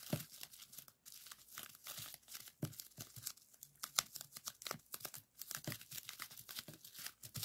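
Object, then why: Plastic bubble wrap sheet. A folded strip of clear plastic bubble wrap on a table is squeezed and popped with fingertips. Sharp, bright pops and crisp crinkling come in quick, uneven bursts, with brief pauses around one second and five seconds. The clip stays quiet overall, and each pop dies away almost instantly.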